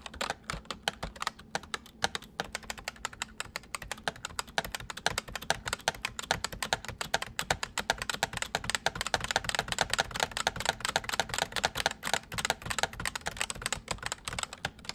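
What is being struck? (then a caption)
Plastic mechanical computer keyboard. Fingertips type steadily on the letter keys and numpad of a white full-size plastic mechanical computer keyboard for about fifteen seconds. Rapid, dense clicks and clacks with a bright, sharp edge come with a faint low hum underneath.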